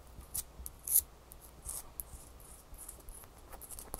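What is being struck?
Ice cube tapped and scratched with fingernails.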